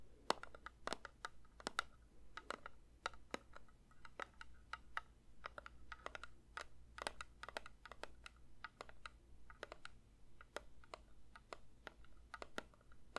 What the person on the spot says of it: 3:47 Metal candle tin tapping